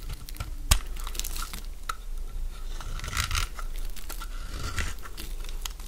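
A metal blade scrapes crunchy flakes from a solid oval cream bar of soap held in the palm. Dry, crackling scrapes and crunches run throughout, with a sharp click near the start.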